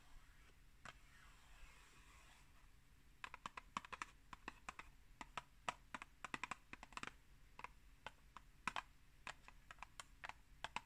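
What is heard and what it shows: Long green nails tap and scratch a tall, hollow, rectangular Pukka tea box made of printed cardboard, held in the hand. A soft, breathy scratching comes first. It is followed by a quick, irregular run of sharp, dry clicking taps with bright highs, each dying away almost instantly over a quiet background.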